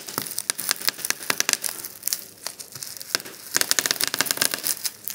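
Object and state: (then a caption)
Plastic bubble wrap being popped. Fingertips and thumbs press and pop the air-filled bubbles of a large, flat sheet of clear plastic bubble wrap lying on a table. Rapid, bright, sharp snaps come in dense bursts over soft plastic crinkling, with a quieter stretch in the middle before a fast flurry of pops resumes.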